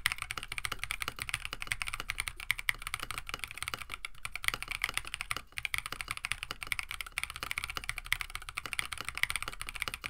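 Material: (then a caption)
Plastic. A compact 65% KBD67 Lite mechanical keyboard with a plastic case, FR4 plate, Oolong switches and PBT plastic keycaps, resting on a desk mat, is typed on continuously with the fingertips of both hands. The result is a rapid, steady stream of short, bright clacks that die away almost instantly.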